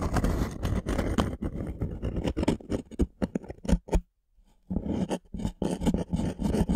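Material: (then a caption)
Wood. Thumbnails and fingernails scratch the surface of a thin, solid light-wood plank held upright, producing dense, rapid, rough scraping strokes heavy in the low end. The scratching falls quiet briefly in the middle, then resumes just as busily.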